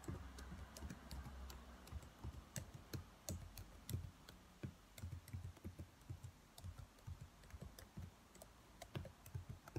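Fingertips with long white nails tap the keys of a black plastic laptop keyboard at a slower pace. The result is a steady stream of soft, dull low thumps with faint bright clicks, each dying away almost at once.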